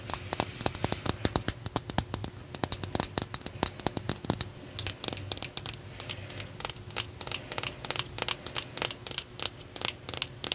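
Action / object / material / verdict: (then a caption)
tap / selenite (gypsum) crystal slab / gypsum / none. A flat, solid, palm-sized raw white selenite (gypsum) slab, held in both hands, is tapped and scratched with long dark-painted nails. The result is a rapid, irregular stream of sharp, bright clicks and light scratches with almost no ring, concentrated in the high frequencies.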